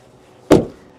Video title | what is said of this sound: 2025 Toyota Land Cruiser: Is the Iconic SUV Still Worth It? | it sounds weak it sounds tinny it's very light it's very thin too